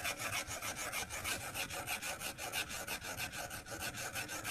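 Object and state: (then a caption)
Stylus drawing on a glass tablet screen. A white plastic stylus tip draws short strokes across the flat glass screen of an iPad, scratching and tapping the glass. The result is a bright, raspy scratching in a steady rhythm of roughly three strokes per second, with a tone around 2.8 kHz and little low end.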